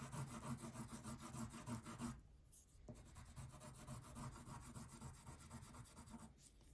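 A blue wax crayon is rubbed back and forth across the background of a thin paper coloring page lying flat on a table, making a steady, rapid scratchy rasp with a low papery rumble. The strokes pause briefly after about two seconds, then resume at a softer level before fading near the end.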